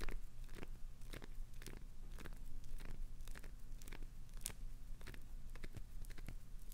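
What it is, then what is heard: Glycerin soap bar being scratched. A palm-sized, solid, translucent green glycerin soap bar with clownfish inclusions is held in hand and scratched and dug into with long acrylic nails, with crumbs falling away. Repeated crisp, crunchy scrapes and short bright crackles sound over a steady low hum.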